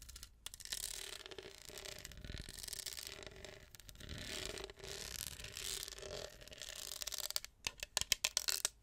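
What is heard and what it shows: Long acrylic nails scratch across a tall, hollow, studded and textured plastic tumbler with a straw, held close to the microphone, making a bright, dry, raspy scraping texture. Near the end, the scratching gives way to a quick run of sharp, crisp taps on the plastic that stop almost instantly.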